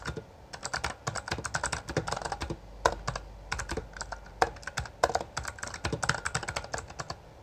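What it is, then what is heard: Plastic mechanical keyboard. Both hands type continuously with their fingertips on a Bloody B820R, a full-size black plastic mechanical gaming keyboard with backlit keycaps and a hollow housing. Dozens of rapid, sharp, clacky keystrokes blend into a steady stream, each one dying away almost instantly. The clicks have a hollow midrange tone around 1 kHz, with occasional louder strikes standing out.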